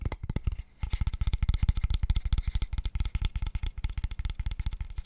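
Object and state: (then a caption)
Hollow light wooden box. Fingertips and nails tap rapidly at different angles on a small, empty, hollow, light pale wooden square tube box. The result is a fast, uneven stream of short, dry, low hollow knocks with light clicky edges and almost no ring, broken by a brief pause early on.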